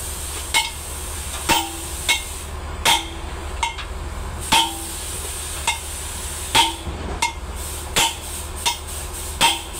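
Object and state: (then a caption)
Sound steel wheel stud bolt. A hammer strikes the old steel wheel stud bolts on the hub of a Mitsubishi Super Great ten-wheeler truck, testing whether they are still strong after one stud snapped while being tightened. Thirteen sharp, bright metallic clanks ring briefly over a steady low hum. The studs do not break under the blows and are judged strong enough to keep.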